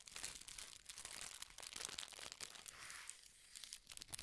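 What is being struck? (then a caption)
Thin tissue paper sheet. A thin, large sheet of red tissue (silk) paper is held up in both hands and crumpled and crinkled with the fingertips. It makes a quiet, steady stream of bright, crisp crackles and rustles, with a smoother hiss partway through before the sharper crinkles return.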